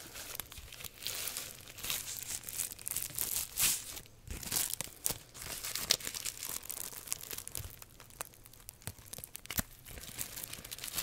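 Long nails scratch and tap a long English cucumber in tight plastic shrink wrap, crinkling the plastic. Dense, bright, papery crinkles and rasping scrapes are heard, punctuated by sharp, quick-fading taps with little low end.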